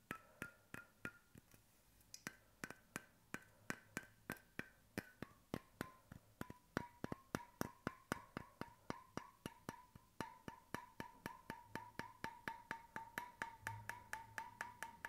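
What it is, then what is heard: Bamboo cap on a steel bottle. Fingertips tap steadily on a bamboo wooden cap fitted to a stainless steel bottle held near the mic, about 56 times over 15 seconds. Each tap is a short, dry, woody click with a faint hollow tone that slides from about 1.3 kHz down to about 900 Hz.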